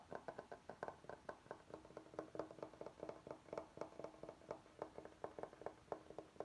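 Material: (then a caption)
Bamboo. Fingertips and nails tap and scratch along the top edge and face of a large, flat, solid bamboo cutting board. Around 30 short, dry, woody taps come in a quick, uneven rhythm, with a hollow midrange tone and almost no ring. Faint scratching sounds fill the gaps between taps.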